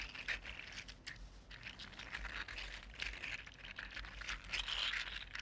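A red-gold 3D printed plastic articulated slug is picked up, flexed in one hand and put back down. Its segments give off a dense, irregular run of bright, crinkly clicks and light scraping over quiet low background noise.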